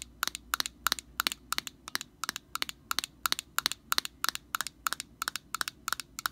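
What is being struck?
Plastic aerosol can cap.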